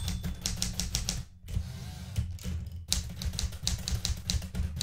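Fingertips with red nails type on the plastic keys of a blue metal portable manual typewriter. Quick, bright key clacks ring over a heavy low thudding rumble, with brief pauses near 1.4 and 2.9 seconds before the typing resumes.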